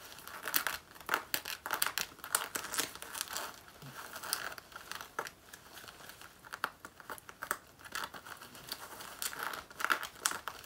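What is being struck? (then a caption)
Faux leather jacket. Long natural nails scratch and claw the front lower panel of a black faux leather jacket worn on the body. Dry, crinkly rasps and quick scraping bursts come in uneven clusters, bright and thin with almost no low end. Each stroke dies away almost at once.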